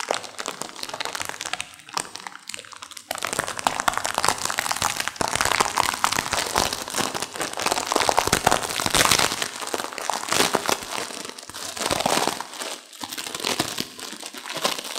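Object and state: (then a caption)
Instant noodle pack being crushed. Long manicured nails and fingertips squeeze and crush a small, full pack of instant noodles in a printed plastic wrapper, held in both hands, with a dry noodle block inside. A softer, sparser opening gives way to dense, bright crinkling of the wrapper mixed with sharp cracks of the noodles breaking, with almost no low end.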